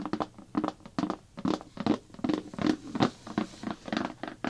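Fingertips and long nails tap quickly on the printed blue plastic lid of a large, hollow slime bucket. The result is a run of short, dry, hollow taps with a mid-low body and almost no ring, coming in an uneven, patter-like rhythm.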